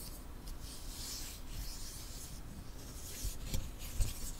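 Fingertips and nails rub along the length of a long, flat, solid light-wood ruler held close to the mic. The result is a soft, continuous scratchy rasp with bright hiss over a low rumble, and a few slightly louder scrapes come near the end.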